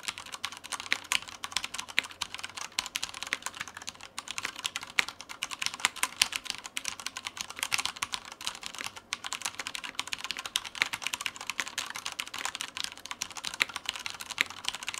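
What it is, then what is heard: Plastic mechanical keyboard. Fingertips of both hands type continuously on a black Typhon Mars Pro tenkeyless mechanical keyboard with Cherry brown switches, plastic keycaps and a white frame, resting on a white desk. The result is a steady stream of rapid, short, bright plastic key clacks with almost no low end and very little ring after each press.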